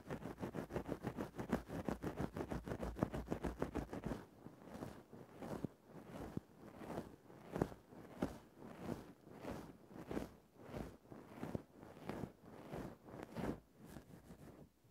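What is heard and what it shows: A thin bamboo ear-pick held in the fingertips scratches and pokes a fluffy grey faux-fur windscreen over a microphone. For the first four seconds there is rapid, dense, louder scratching; it then gives way to slower, separate soft rustling strokes about every half second. The sound stays muffled and low-heavy, with a close, padded feel.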